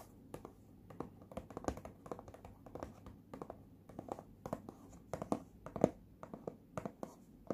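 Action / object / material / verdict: scrape / small printed cardboard box / cardboard / none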